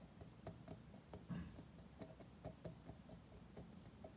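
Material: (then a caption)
Metal. Fingernails tap on a metal surface, making a quick, irregular series of sharp, ticking clicks over a steady low background rumble. Each tap is brief, with a bright short attack that fades quickly.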